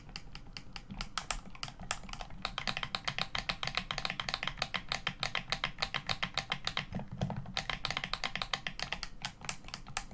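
Fingertips tap and press the buttons and plastic face of a hollow black plastic Xbox One controller lying face up. Around sixty quick, dry clicks and taps come in an uneven, fast run, bright and sharp with almost no ring and a faint low thud beneath.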